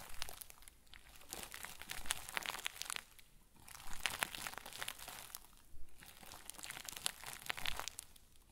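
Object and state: Plastic bag crumpled into a crinkle ball.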